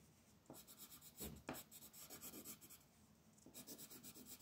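A green wooden colored pencil scratches and rubs across a flat white paper sheet printed with a mandala on a table, while the other hand steadies the sheet. Quick, soft, papery scratching strokes come about four per second, each with a bright, hissy edge. There are two louder strokes near the start and a brief lull before the coloring resumes.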